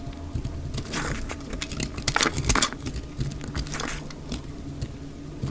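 A solid, square, lavender-blue bar of dry lavender soap is held in the hand and scraped into flakes with a utility knife blade, played at 2x speed. Dry, crackly scraping bursts with a bright, crisp edge come in quick, uneven strokes over a steady low hum, peaking around the middle of the clip.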